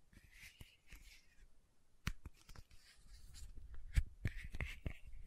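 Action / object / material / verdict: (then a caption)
tap / small plastic bottle with metal cap / plastic, metal / none. A small pink Aupres sunscreen bottle of plastic with a metallic cap, held in one hand, is tapped on the cap top with long nails and fingertips. Quiet, irregular sharp clicks and soft thuds stand out over a faint, bright scratchy hiss, with the taps growing slightly louder toward the end.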